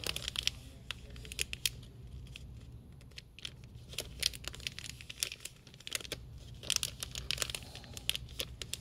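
A glossy flexible plastic film pouch holding a "Say it again" card game, hanging on a store peg, is gripped and squeezed at the top by fingertips. It gives off a steady run of sharp, bright crinkles and crackles with a faint low hum underneath.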